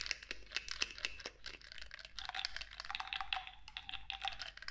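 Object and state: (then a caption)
Glass pump bottle. Long nails tap rapidly and repeatedly on the black pump top of a clear cosmetic bottle, likely glass, partly filled with clear liquid. The result is a quick run of sharp, bright clicks centered near 2.7 kHz. Each click dies away almost instantly, and a faint low hum sits underneath.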